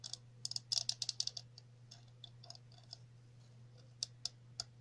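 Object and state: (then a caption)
Plastic cap tapped with fingernails. A chunky, hollow red plastic cap with a center hole and ridged sides is held in the hands and tapped and scratched with long natural nails. A quick flurry of sharp, bright clicks is followed by softer scratching and a few scattered taps, each dying away almost instantly over a steady low hum.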